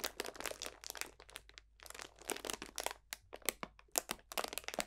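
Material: Plastic film.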